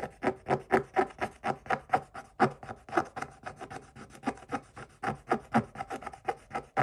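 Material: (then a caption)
Coated paper. A wooden stick scrapes the coating off a scratch-off coated paper page in a book, making a steady run of short, dry rasping strokes. Each stroke is a brief papery scratch with a faint tonal edge and almost no low end, repeating at about two per second with uneven spacing.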